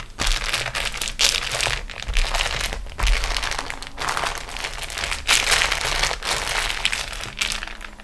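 Long nails and fingertips scratch and press a large, flat beeswax-coated cotton food wrap sheet with a rolled edge lying on a table. The result is a steady stream of crinkly, sticky, crackly sound with bright, dense crackle, swelling and easing in bursts for the whole clip.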